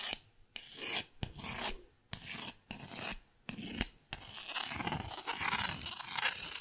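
A purple pen tip is scratched and rasped across the grid-textured face of a small, flat, thin, solid green plastic paddle held by its handle. Bright, dry rasping strokes come in short bursts separated by brief silences, then merge into a continuous scratching run in the last few seconds.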